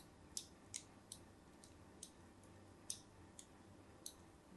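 A thin metal blade draws diagonal score lines across the face of a solid cream bar of soap with an embossed logo, held upright, scratching and cutting into it. Eight short, bright, crisp scrapes stand out, each dying away almost instantly. They sit over a quiet, steady low background rumble.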